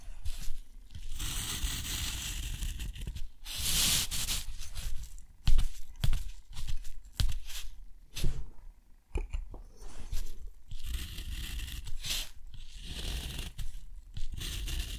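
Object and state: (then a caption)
Steel nib scratching on rough watercolor paper. A steel nib scratches diagonal lines inside a square on a sheet of thick, rough, white textured watercolor paper. Each stroke gives a dry, scratchy rasp, like a slow tear, with bright hissing bursts over a low rumble. The strokes come in uneven, overlapping runs with short pauses between them.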